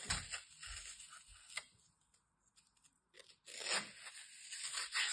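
A metal utility knife blade slices and scrapes along the edge of a hand-sized, solid, dry green floral foam piece with ragged edges. Bright, crunchy tearing and scraping comes in two bursts separated by a near-silent pause, with a few faint ticks in between.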